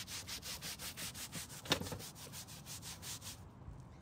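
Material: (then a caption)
Carpet. A green-bristled hand brush scrubs a long dark grey carpet rear car floor mat, wet with cleaner, laid on a white folding table. Steady, rhythmic back-and-forth strokes make a bright, hissing rasp, with one sharper click midway. The scrubbing stops just before the end, leaving near silence.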